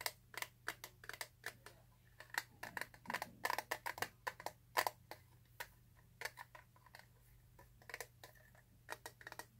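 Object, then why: Clear plastic eyeshadow palette. A small, flat, mostly solid clear plastic eyeshadow palette case, held in the hands, is tapped rapidly with fingernails. The result is a quick, irregular series of sharp, bright plastic clicks that die away almost instantly, with brief bursts of faster tapping over a faint steady low hum.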